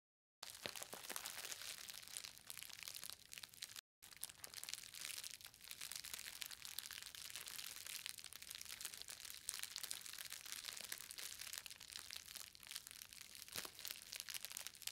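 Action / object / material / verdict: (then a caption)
scrape / book wrapped in plastic bubble wrap / plastic / none. A book-sized parcel of green plastic bubble wrap with a solid book inside is held in both hands and squeezed with fingers and long nails to crinkle and pop the bubbles. The result is a dense, continuous stream of bright, crisp crinkling and sharp little pops with almost no low end, broken only by a brief silence just before the four-second mark.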